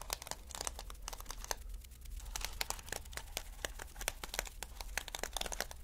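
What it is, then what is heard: Plastic sequin fabric being scratched. Fingertips and nails brush and scratch across a stretched sheet of reversible flip plastic sequins on mesh fabric, flipping them over. A dense stream of quick, bright plastic clicks and crinkles rises and falls over a steady low hum.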